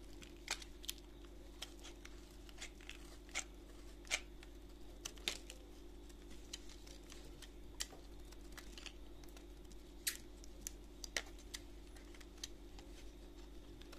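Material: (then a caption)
Soap. A gloved hand holds a solid yellow embossed bar of soap while a utility knife blade scrapes across it. Quiet, sparse, sharp scraping ticks and crackles come through with bright edges, over a steady low hum that runs the whole time.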